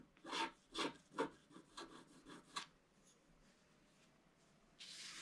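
A wooden stylus scratches the coating at the top and bottom edges of a black-coated scratch-art paper page held flat, making six quick, rasping strokes in the first few seconds. A quieter stretch of faint scraping follows, and then a steady, bright hiss starts near the end.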